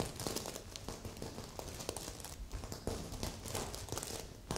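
Long nails scratch across the sequins of a stuffed magenta sequin heart pillow, with a second pillow nearby left untouched. It gives a steady, quiet, crinkly rasp dotted with short bright clicks and soft low rustles that fade almost at once.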